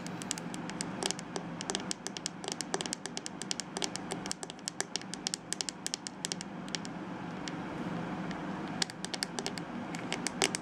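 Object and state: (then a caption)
Plastic hairbrush scratched and tapped. Fingernails scratch and tap along the edge of a plastic detangling hairbrush with a hollow, glittery plastic shell and bristle base. Rapid, dry, bright clicks and taps pepper a steady soft scratching hiss. Each tick stops almost instantly, with no ring.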